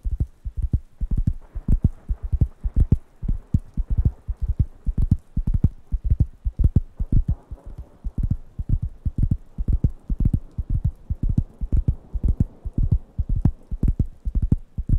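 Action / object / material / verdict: tap / thin round wooden coaster pad / wood / none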